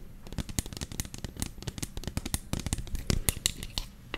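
Long fingernails tap and scratch on a medium white plastic lotion bottle with a black pump, hollow with contents inside, held up close. A dense run of quick, dry clicks and scratchy rasps mixes bright ticks with hollow low knocks, each dying away almost at once.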